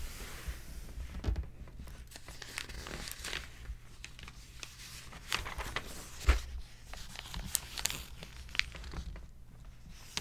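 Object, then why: Glossy paper magazine. An open glossy paper magazine lies on a table while a page is flipped and then pressed and rubbed flat with fingertips. Soft papery crinkles and rustles come with a few sharper, bright snaps, over a steady low rumble.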